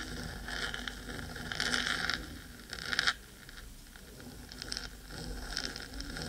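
Long red glitter stiletto nails scratch and tap the metal top of a black, hollow, cylindrical 3Dio binaural microphone housing. Bright, gritty scraping comes in uneven bursts, loudest around the two- and three-second marks, then a brief quieter stretch before the scratching picks back up. A steady low rumble sits underneath throughout.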